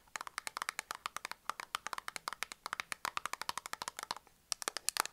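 Long acrylic nails tap rapidly on a small printed cardboard box holding a 100 g Dettol soap bar, held in the hand. About forty quick, dry clicks come in an uneven rhythm, each snapping off at once with no ring, with a crisp, bright top and a hollow mid tone. There is a short pause near the end before a final burst of taps.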